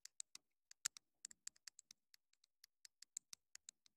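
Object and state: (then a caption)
Plastic mini microphone tapped with fingernails. Long nails tap quickly on the casing and top of a small, hollow, black plastic clip-on wireless mini microphone transmitter. The sound is a fast, irregular series of crisp, dry, high clicks with almost no low end. Each click dies away almost instantly.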